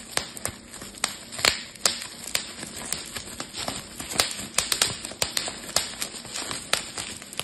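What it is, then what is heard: Plastic bubble wrap being popped. A clear plastic bubble wrap sheet is twisted into a roll between both hands, popping its bubbles. Sharp, bright snaps burst out one after another over a constant crinkly plastic hiss, each pop dying away almost instantly.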